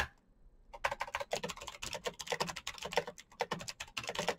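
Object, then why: Plastic mechanical keyboard. Fingertips type fast on a full-size black plastic Razer mechanical keyboard with clicky green switches and RGB backlight. After a brief quiet start, a rapid, uneven stream of sharp, bright clicks and clacks follows, each keystroke short and dry, with a light plasticky thud underneath.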